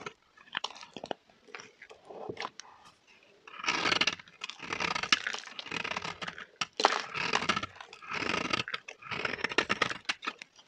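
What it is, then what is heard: Dry bar soap being cut. A metal blade cuts and scrapes chunks from the end of a solid pink bar of dry soap held in the hand. Short, quiet crunchy cuts give way to longer, louder dry scraping passes with a bright, gritty texture and little low end. Each pass stops dead with no ring, leaving brief pauses between strokes.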